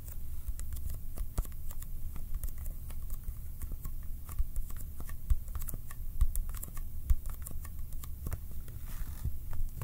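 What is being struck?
Small cardboard box.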